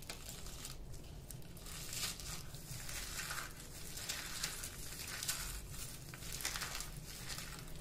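Fingertips squeeze and crush a small, solid yellow ball of dry bar soap with gold glitter flakes, held in both hands over a pile of soap crumbs. Dense, dry crunching and crackling runs steadily throughout, bright and gritty, with a low rumble underneath and brief louder bursts. The soap crumbles and crunches apart.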